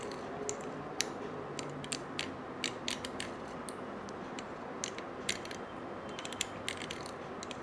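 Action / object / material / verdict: scrape / coiled metal wire bangle / metal wire / none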